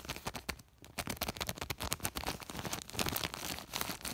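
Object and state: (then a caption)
Woven polypropylene bag. Fingertips scratch and rub across the woven surface of a large white woven polypropylene sack with a flat hand. The result is a fast, continuous run of dry, bright crackling scrapes with a brief quieter pause near the start.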